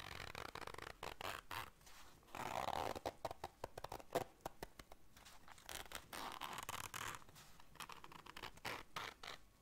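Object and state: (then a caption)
Fabric zipper case being zipped and scratched. A small round black fabric zipper case is held in the hands while long dark nails work its zipper and scratch across the fabric. Quick, raspy zipping runs alternate with dense bursts of scratching and light tapping, with a broad, bright texture and little low end. The sound is quiet and close, with sharp attacks that stop almost immediately.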